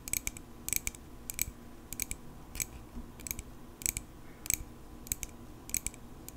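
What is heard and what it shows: A small, solid silver metal pocket knife is held up near the face and tapped with long pink acrylic nails. Short, bright metallic clicks come in quick double and triple bursts at a steady pace, each dying away almost instantly over a faint low background hum.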